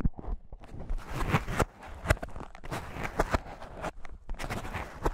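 A light, airy white expanded polyethylene foam mesh sleeve, a fruit protection net, is rubbed and stretched with fingertips. It gives a soft, continuous scratchy rustle with low, muffled body, broken by short, sharp squeaky scrapes and ticks that reach bright highs. The bursts come in uneven clusters with brief quiet gaps between.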